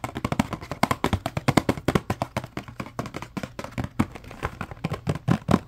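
Fingertips tap and scratch the sides of a small, green, printed cardboard furniture care kit box, which is hollow with contents inside. A rapid, uneven series of dry, short taps with a low, hollow body is heard, mixed with soft scratching, and each tap dies away almost instantly.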